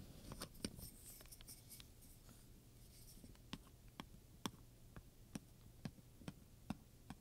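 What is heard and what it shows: A wooden pointer scratches across and taps the metal studs on a black leather handbag. Dense, bright scratching and clicking in the first half gives way to separate, sharp metallic ticks over a quiet, steady low hum.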